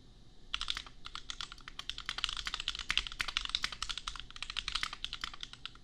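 A compact custom mechanical keyboard with Gateron Milky Yellow switches and red and pink plastic keycaps is typed on rapidly with the fingertips of both hands. The result is a steady stream of short, bright plastic clacks that peak around 3 kHz and stop almost instantly, over a quiet low background.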